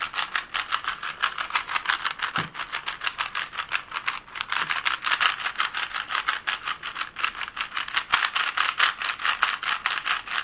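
A plastic Rubik's cube has its layers twisted fast and is tapped with long nails, making a dense, continuous stream of rapid, bright plastic clicks and rattles. The clicks are short and dry, with almost no low end, and keep an even, brisk rhythm for the whole clip.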